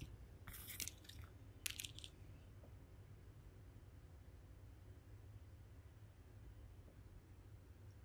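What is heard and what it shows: Long acrylic nails tap and scratch over the bumpy back of a handheld smartphone in a pink plastic or resin case covered with raised bubble-like 3D decorations, rhinestones and a panda charm, held close to the microphone. Brief bright, crisp scratching bursts fill the first two seconds, then fade into a low, steady background hum for the rest of the clip.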